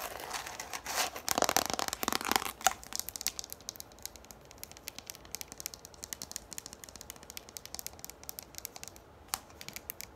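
Long nails tap quickly on the top and rim of a yellow plastic frisbee with its hollow side visible. The first few seconds are a dense, bright rush of clicking and scratchy taps. It then thins into lighter, rapid plastic ticks with a faint hollow tone, and one sharper tap stands out near the end.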